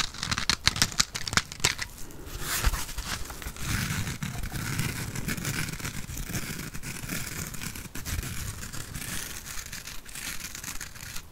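Long painted nails scratch a rectangular yellow foam sponge that is soft and porous. Sharp, crackly clicks open the clip, then it settles into a dense, steady scratching rustle with a bright hiss over a soft low rumble.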